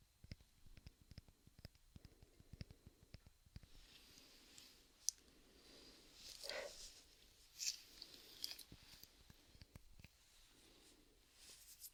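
Tapping on the rubber sleeve covering a hairbrush handle produces quick, soft, high-pitched clicks. The taps come in an irregular series over quiet background hiss.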